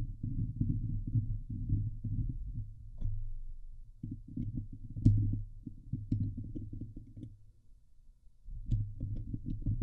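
Long glitter nails on both hands scratch the hollow steel mesh grille of a Blue Yeti microphone. The result is a dense, low, rumbling scrape with a throbbing texture and occasional sharper clicks, one louder near the middle. The scratching pauses briefly twice before resuming.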